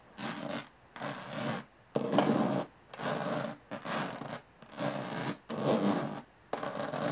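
Long nails scratch and rub across the textured lid of a closed, hollow aluminum carry case. Repeated raspy strokes of about half a second to a second each are separated by short silences. They produce a bright, hissy scraping noise with a faint hollow metallic body underneath.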